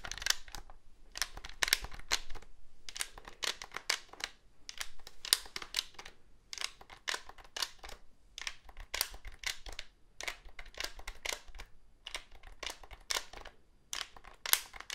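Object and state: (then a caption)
Plastic cordless phone handset. Fingertips and nails tap and scratch the hollow casing of a handheld black plastic cordless phone with an antenna and keypad, and press its keys. Quick, dry, bright clicks and scrapes come in dense bursts separated by brief pauses, each sound dying away almost instantly.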